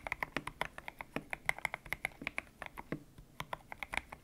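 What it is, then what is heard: Mechanical keyboard with PBT plastic keycaps. Fingertips type steadily on a white-cased mechanical keyboard with grey and pink PBT plastic keycaps, its hollow case resting on a desk mat. About 29 sharp, bright keystrokes clack out in quick succession, each a crisp, dry tap with almost no ring and little low end.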